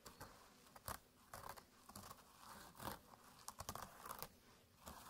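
Fingertips scratch along the woven surface of a small, flat jute burlap pouch with a red drawstring, resting on a mat beside an identical pouch that lies still. The result is quiet, dry, rough scratching with crinkly, brushy bursts and bright, hissy texture, rising and falling in short strokes.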